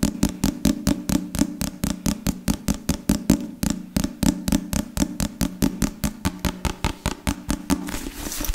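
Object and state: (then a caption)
Leather-covered book. A solid book with a black leather or leatherette cover is held above a microphone while fingertips and nails tap and scratch across it. A fast, steady run of about forty short, dry taps gives low, woody knocks centred near 250 Hz that die away almost at once. It ends in a brief, brighter scratching hiss.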